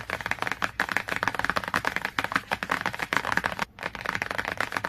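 Fingernails scratch and tap quickly on the glossy cover of a cardboard hardcover book. The result is a rapid, steady stream of short, dry clicks and scratchy taps, centred around 1.5 kHz with little low end, with a brief pause near the end.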